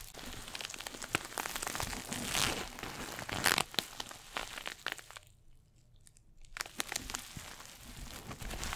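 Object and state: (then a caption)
Coated nylon bag, scratched. A small red glossy coated-nylon pouch shoulder bag is held close to the mic and scratched with fingernails. Dense, bright scratching and crinkling runs throughout, with a quiet pause of about a second and a half before the scratching resumes.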